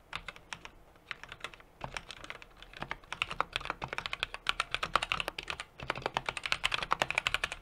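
Fingertips of both hands rapidly type on a small 60% mechanical keyboard with an aluminum case, brass plate and plastic keycaps. Dozens of sharp, bright, clacky key taps come in quick, steady bursts with very short ring and brief dips between flurries.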